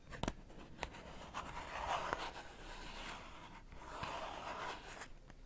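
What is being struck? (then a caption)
Cardboard matchbox. A small closed rectangular cardboard matchbox with brown striker strips, hollow and holding matches, is tapped and scratched on its top and sides by long painted nails while held over a water bowl, then briefly held in one hand at the end. Sharp dry taps stand out over a steady, papery scratching hiss with a hollow mid-range tone. The sound is quiet and close.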